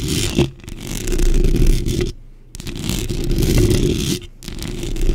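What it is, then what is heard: Metal mesh microphone grille. Long pink nails and fingertips scratch and tap the top and sides of a black microphone's hollow metal mesh grille. The result is a dense, fast, crackling scrape, heavy in low rumble with a faint bright hiss. It breaks into short quiet gaps before resuming.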